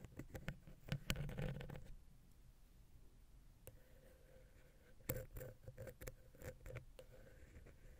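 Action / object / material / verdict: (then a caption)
scrape / metal XY microphone capsule scratched by a wooden ear pick / metal / none. A wooden ear pick scratches the side of a silver metal XY stereo microphone capsule on a Zoom H6 recorder, then moves to the center. Close, low-heavy scraping and tapping come in two bursts, with a quiet stretch between them.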